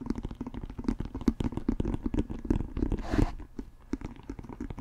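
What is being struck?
Leather American football.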